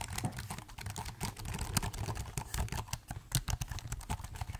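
Fingertips type and tap on the plastic keys of a silver laptop keyboard held tilted. The result is a rapid, uneven run of short, dry clicks with a soft, low thump under each press and bright clicky edges, every tap dying away almost at once.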